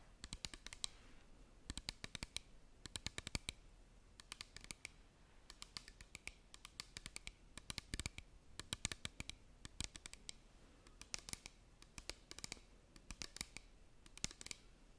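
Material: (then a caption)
Plastic. Long painted nails tap and scratch the sides of a small clear plastic hand-sanitizer-type bottle with a flip cap, hollow and partly filled with clear liquid, held upright close to the mic. Quiet, bright, dry clicks come in rapid bursts over a soft scratchy hiss. Each tap stops instantly with no ring.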